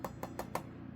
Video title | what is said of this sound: COOL Ultraguard OI 012 Linecord Smoke Alarm Unboxing and Test | it sounds like it's like a very thin metal material